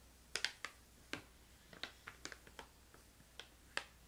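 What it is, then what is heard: Plastic pouch of candy tapped and scratched with fingernails. Long painted nails tap and scratch the front of a filled, medium-sized printed plastic pouch of crystallized ginger held in the hand. About eleven sharp, bright clicks sound at irregular intervals, each dying away almost at once, with light crinkling of the plastic between them. The sound is quiet and close, with almost no low end.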